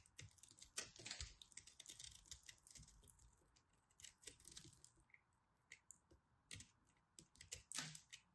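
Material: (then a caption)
Soap. A small knife repeatedly cuts and scrapes a blue and purple pressed soap ball held in the hands. It makes dense, crisp, bright crackling and scratching, with sharp strokes and brief pauses between bursts.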